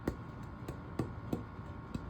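Five taps on the dense hardwood back plate of a ukulele give short, dull knocks with a faint tone around 230 Hz that dies away almost at once. Because the wood is hard and dense, the plate resonates only a little, and the back's main job is to reflect sound outward.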